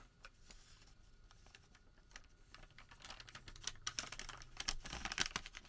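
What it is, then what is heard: Thermal paper receipt being crinkled. Fingertips pull, flex and crinkle a long, thin Home Depot thermal paper receipt strip. Soft, bright crinkling and quick ticking crackles build from quiet rustling into louder, sharper snaps in the second half.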